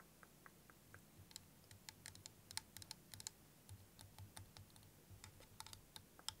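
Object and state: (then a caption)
Plastic liquid timer tapped with nails. A clear plastic liquid motion timer with yellow ends and green liquid is held tilted while fingernails tap and scratch its plastic surface. The result is a run of quiet, sharp, bright clicks, irregular and dry with almost no ring, over a faint low hum.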